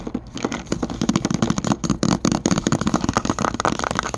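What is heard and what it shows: Fingertips and short nails tap and scratch a hollow white plastic magnesium supplement bottle with a purple label and a white screw cap, held up close. The result is a fast, dense run of dry, hollow plastic clicks and scratchy crackles with a low knocking body, each tap dying out almost at once.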